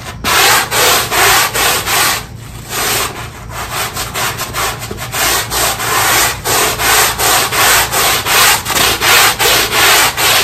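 A black push broom on a long handle scrubs a small, square, wet, ribbed synthetic carpet tile, its bristles rubbing back and forth across the pile. The result is a steady run of bright, hissy scratching strokes, with a brief quieter stretch partway through.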